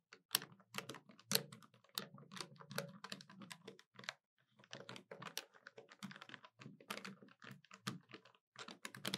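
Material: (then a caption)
Plastic. Long nails tap and press the keys of a hollow black plastic desktop calculator in a quick, uneven run of sharp, bright clicks with a thin low body. Each click dies almost instantly, and the run pauses briefly about halfway through before resuming.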